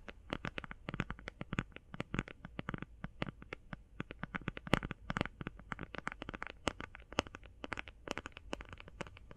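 Fast binaural tapping on an eye shadow palette produces a rapid, irregular stream of dozens of short, dry clicks over a low background rumble. Each tap is brief and sharp with almost no ring, some louder and brighter than others.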